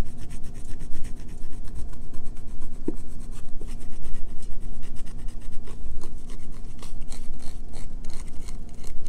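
Long fingernails scratch and rub along the edge of a solid green bar of soap held in the hand. The result is a fast, continuous run of dry, raspy strokes with short, clipped ends and a heavy low-end rumble underneath.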